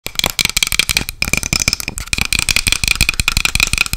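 A small, light, hollow wooden box with a dark metal clasp and its lid closed is tapped fast with long acrylic nails. A rapid, continuous stream of sharp, clicky taps, each dying away almost instantly, with a bright, steady ringing tone near 2.4 kHz running through the rattle.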